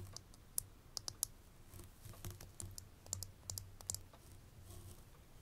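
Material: Glass.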